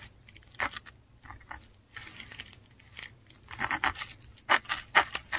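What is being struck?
Textured paper sheet under a metal dip pen nib.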